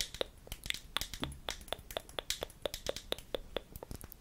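A small glass liquid-foundation bottle with a white plastic cap, filled with product and held in one hand, is tapped with long nails. The result is a rapid, uneven series of sharp, bright clicks with a pitched tick near 3.5 kHz that stop almost instantly, with no ringing between them.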